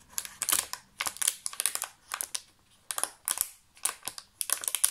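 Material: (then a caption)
Plastic. An empty clear thermoformed plastic chocolate insert tray with many cavities is held in both hands and tapped with fingertips and nails. Quick bursts of bright, crisp clicks and light crinkling come in uneven clusters with short pauses between them. The sound is thin and high, with almost no low end.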